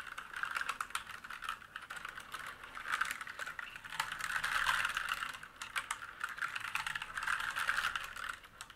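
Fingertips type and press keys across a black mechanical keyboard with plastic keycaps and a metal top plate resting on a wooden desk. A steady run of quick, crisp clacks with very little low end and a bright edge swells and eases in bursts.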